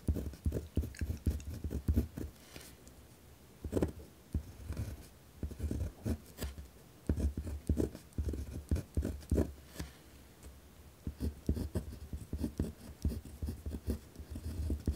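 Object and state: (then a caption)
Pen writing on a paper notepad. A pen tip scratches firmly across a white lined paper pad resting on a wooden desk while writing. Short, dense scratching strokes come in bursts with brief pauses, mostly low and dry with little ring, giving a rough, hard writing sound.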